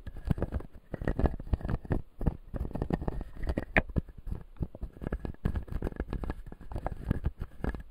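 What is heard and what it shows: A fingertip scratches and taps the white plastic teeth of a closed, solid clear acrylic dental model. The result is a dense run of short, dull taps and scraping pats, mostly low and thumpy with a faint high scratch. Each hit dies away almost at once.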